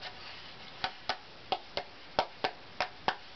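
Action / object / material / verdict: tap / unvarnished spruce violin top plate / spruce wood / none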